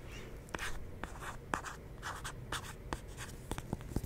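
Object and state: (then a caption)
Plastic lotion bottle. Fingernails scratch and tap a medium, hollow white plastic CeraVe moisturizing lotion bottle with a pump, held in one hand beside the microphone. Soft, papery scratching runs underneath a series of crisp, short taps that stop dead with almost no ring.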